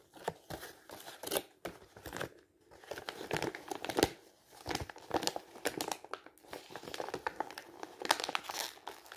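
A printed black-and-white glossy magazine page is held in the hands while the fingers crumple and crinkle it into a wad. Dense, dry crackling bursts come in quick, uneven clusters, with short quiet gaps between handfuls. The sound is bright and papery, with almost no low end.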